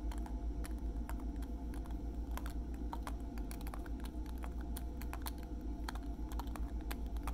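A small, slim pink plastic lip gloss tube with a silver metallic cap, filled with product, is held in one hand and tapped with the fingertips and nails of the other. Quick, light clicking taps come in a steady, slightly uneven patter over a constant low hum.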